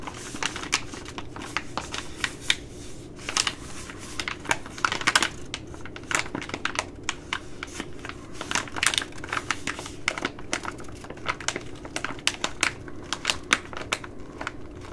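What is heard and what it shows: A long glittery nail taps and scratches a Ready Rice plastic laminate pouch, making a rapid, irregular stream of sharp, bright clicks and crinkly scrapes. The ticks are dry and short, with no ring, over a faint steady low background hum.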